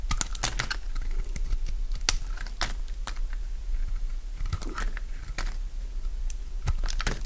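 A solid, dry purple bar of soap is held in the hand while its surface is shaved with a utility knife blade, sending flakes falling. Quick, crisp scraping and crunching strokes with bright, clicky edges come in irregular bursts over a steady low hum.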